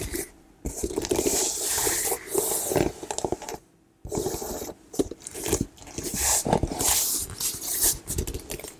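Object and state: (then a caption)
Woven leather handbag. A medium plum woven leather hobo bag, soft and hollow, is tapped and scratched with long nails across its woven leather surface. Bursts of crisp, crunchy scraping and dry tapping come in uneven clusters with bright edges, separated by two short near-silent pauses.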